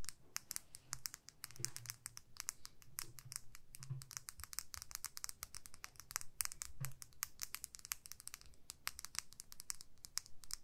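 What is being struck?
Small plastic lip gloss tube.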